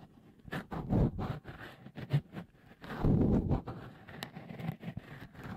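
Fingertips rub a small, hollow, white, dimpled microphone cover, textured and likely silicone, fitted over the left capsule of a Tascam recorder. The result is a close, muffled scratching and scuffing made of short bursts, mostly low and dull with little brightness. It swells into two longer, louder rubbing stretches.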